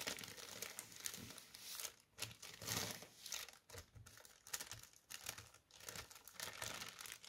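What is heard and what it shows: A thin white tissue paper sheet is held up in both hands, then laid flat on a table and tapped and scratched with the fingertips. The result is a quiet, bright crinkling and rustling that comes in short bursts separated by brief near-silent pauses, with little low end.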